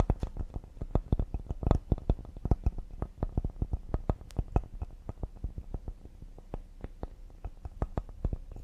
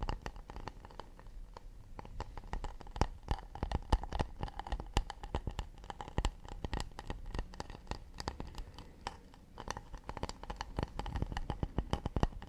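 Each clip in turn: First: cedar wood serving board. Second: acacia wood plate.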